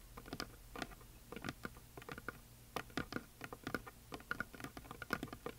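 Long nails tap and scratch near the top edge of a flat, solid, heart-shaped painted wooden sign with glitter. The result is a quiet, irregular patter of short, dry clicks with a faint ticking tone around 1.4 kHz, interspersed with soft scratches, each tap dying away almost instantly.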